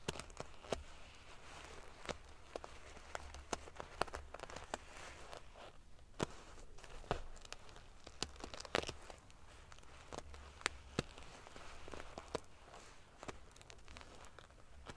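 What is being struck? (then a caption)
Padded pillow covered in small metal sequins. Fingers and long nails scratch and ruffle the rows of silver metal pieces on a large padded metal-sequin fabric pillow. The result is a steady, bright, crinkly rustle scattered with many sharp, short clicks and ticks as the pieces flip and knock together, over a faint low hum.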